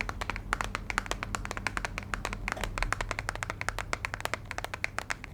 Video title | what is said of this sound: ASMR * Tapping & Scratching * New Purses! * Soft Spoken * ASMRVilla | Tiny little plastic box.